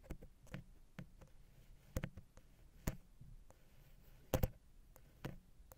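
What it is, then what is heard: Metal microphone capsule housing scratched with a wooden pick. A wooden ear pick, held at an angle, scratches along the small hollow silver metal XY capsule housing on a Zoom H6. Quiet, low, dull scraping is broken by sharp, short clicks and taps that die away almost at once, with brief near-silent gaps between them.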